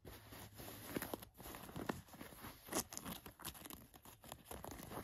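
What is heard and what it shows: Long nails scratch across an olive cotton canvas work jacket with paint spots, lying flat, working over the fabric and its pocket flap. The clip is a quiet run of dry, scratchy rasps and crinkly brushing strokes, with a few sharper scrapes standing out against a soft, steady hiss.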